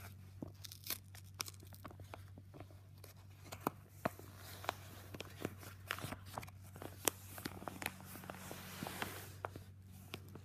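A yellow Jiffy padded paper mailer lying on carpet is handled by fingertips at the flap while palms press and rub its surface. The result is a quiet run of soft paper crinkling broken by short, sharp crackles and snaps, over a steady low hum.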